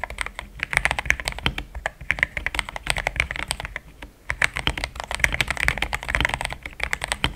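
Fingertips of both hands type continuously on a compact mechanical keyboard with plastic XDA keycaps. The result is a rapid stream of short, bright clacks with a pitch near 2 kHz and almost no ring, broken by a brief lull around the four-second mark.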